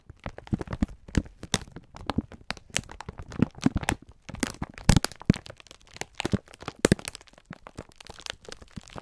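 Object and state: Plastic-wrapped pack of sponge scourers being crinkled.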